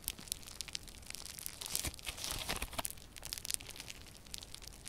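Yellow crunchy foam-bead slime is squished, folded and pressed between both hands, giving a steady stream of bright crunching and crackling pops. The sound is dense and high, with brief sharp snaps riding over a soft crinkly bed and louder clusters in the middle.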